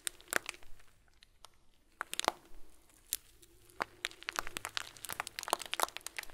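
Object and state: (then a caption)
Plastic bag of small plastic beads. A hand squeezes and grips a hand-sized clear plastic bag full of small white plastic pearls. The result is a run of crisp crinkles and sharp, bright crunchy clicks, with brief quiet gaps and a faint low hum underneath.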